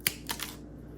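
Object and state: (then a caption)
Crispy, fully dried vegetable-pulp crackers. Homemade crackers made from carrot and celery juice pulp with flax, hemp, sesame and pumpkin seeds, dried in a dehydrator, give three short, bright, dry snaps. Each crack dies away almost instantly, showing the crackers are crispy and dried all the way through.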